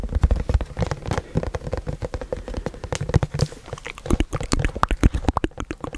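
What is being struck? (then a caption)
Cardboard box. A hollow, white printed cardboard product box is held in the hands, handled, and tapped with fingertips and nails close to the microphone. It makes a rapid, uneven patter of dull, low, hollow taps with short scratchy rustles between them. Toward the end, sharper, brighter nail clicks come through.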